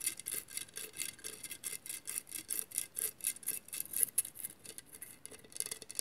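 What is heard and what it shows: Long nails scratch across a hollow glass mosaic vase in a quick, uneven series of short strokes. Each stroke is a bright, dry, hissy rasp with almost no low end and no ringing afterward, kept at a fairly quiet level throughout.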